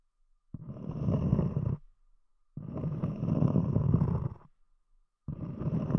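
Long nails scratch the top surface of a round, solid cork disc, with the fingertips lifting off near the edge. Three separate scratching passes are heard as a dense, low, rumbling rasp with short silences between them; the third is still going when the clip ends.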